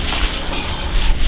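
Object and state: Nothing is struck.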